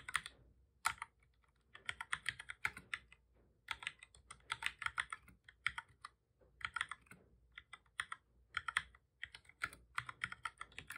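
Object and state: Plastic computer keyboard being typed on.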